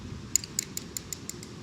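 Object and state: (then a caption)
Metal part of a model excavator. Light, bright metallic taps on a metal part of a small YIGONG YG970 RC model excavator. Seven short, high-pitched clicks ring briefly over a faint low hum, and the part sounds like metal.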